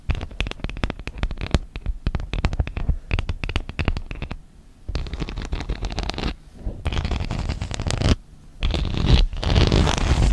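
Long nails tap and scratch the textured plastic honeycomb inner surface of an open tablet case. A quick run of sharp, dry taps fills the first few seconds, then after a brief pause comes a steady raspy scratching, broken by two short gaps.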